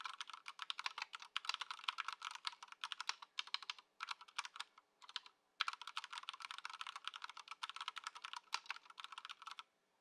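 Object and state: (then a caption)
Plastic mechanical keyboard. Both hands' fingertips type continuously on a compact white Ducky One 2 SF mechanical keyboard with plastic keycaps, resting on a dark mat on a wooden desk in its stock "before" setup. Rapid, bright, clacky keystrokes with a midrange ring around 1.3 kHz run in dense bursts, with brief pauses near 4 and 5.5 seconds. The typing stops just before the end.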